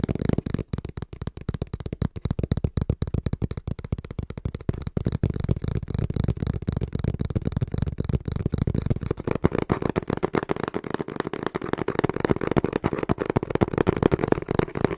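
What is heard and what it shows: Fingertips tap rapidly on the front panel of a small, brown, hollow cardboard box held in both hands. The result is a dense, uneven stream of dull, low thuds with almost no brightness. Each tap dies away instantly, and the tapping grows slightly fuller and louder toward the end.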